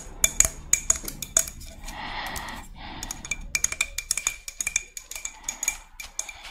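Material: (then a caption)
Shell. Long red nails tap and scratch the spines of a hand-sized, hollow, thick-walled white spiny murex shell, up close. Quick, bright, irregular clicks carry a faint high ring, broken by two longer raspy scratching passes in the middle before the tapping resumes.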